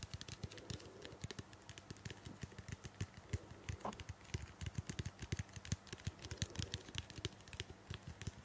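A small hollow purple-blue plastic shampoo bottle, held in both hands close to the microphone, is tapped and scratched with long painted nails. The result is a steady run of quick, dry clicks with very short ring and a low body thump. Faint bright scratching sits between the taps, with a brief higher squeak partway through.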